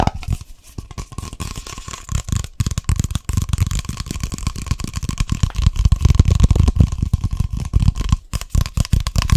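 A hollow black and orange plastic coffee container is tapped and scratched rapidly with fingertips and nails. The result is a dense, continuous stream of quick, dull, hollow thuds with a low, boomy body and a light scratchy edge, growing a little louder toward the end.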